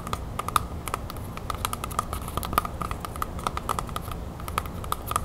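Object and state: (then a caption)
Red apple. Long nails tap quickly on the skin of a whole, solid red apple held in one hand. The result is a rapid, uneven stream of short, dry clicks with a faint hollow tone around 1.2 kHz over a low background rumble, each tap dying away almost instantly.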